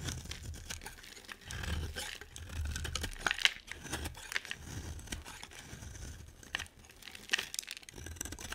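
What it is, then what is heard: Bar of soap being scraped. A solid, hand-sized white bar of soap is held in one hand with long nails and scraped with a utility knife blade, peeling off long white shavings. The blade produces a steady run of dry, bright scraping and crinkling crackles, with a few sharper snaps standing out over a soft low rumble.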